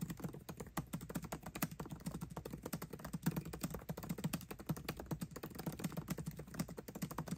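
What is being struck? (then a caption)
Aluminium laptop keyboard with plastic keys. Both hands type fast with fingertips on the backlit black plastic keycaps of a 13-inch aluminium MacBook Pro laptop keyboard, tapping the keys continuously. A rapid, steady stream of short, dry clicks with a low thud centered near 170 Hz, each dying away almost instantly.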